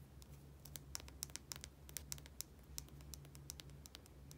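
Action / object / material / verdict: tap / small plastic bottle with cap / plastic / none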